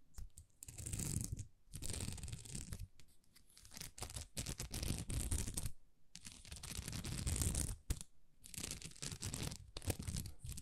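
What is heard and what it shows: Long nails scratch across a thin, flexible sheet of small plastic rhinestone stickers, making dry, raspy crinkling in bursts separated by short pauses. The scratches carry a bright, hissy top over a soft low rumble.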